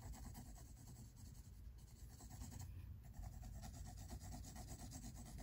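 A pink mechanical pencil rubs and scratches lines near the edge of a drawing on the white paper of a spiral-bound sketchbook resting on a table. The result is quiet, steady, uneven scratching strokes over a dull low rumble.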